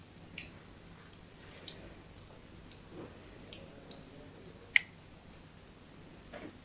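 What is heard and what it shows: A metal blade scores along the surface of a solid white bar of soap held in the palm. It makes a string of brief, bright clicking scrapes spread apart by quiet gaps, with one sharper, louder snap near the end and a soft scrape to close.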